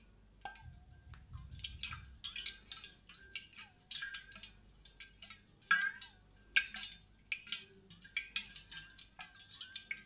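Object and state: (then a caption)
Insulated stainless steel water bottle tapped and scratched. Long painted nails tap and scratch along the body of a large, hollow, grey insulated stainless steel water bottle with a matte coating as it rests on the microphone. The sound is a loose, irregular run of bright clicking taps, each dying away almost at once, mixed with dry scratchy rasps and a faint ringing tone near 1.6 kHz.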